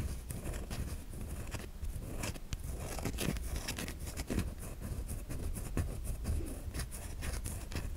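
A white solid bar of soap held in the palm is scratched with long nails that cut grooves into it, sending flakes falling. Close, dry scraping and crinkly scratches with soft tapping come through in quick, uneven strokes over a low, steady rumble.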